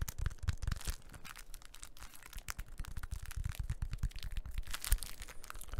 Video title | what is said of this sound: the classic - tapping - ASMR | have a bit of the crinkliness of the packaging and you have a bit of the sturdy surface of the cork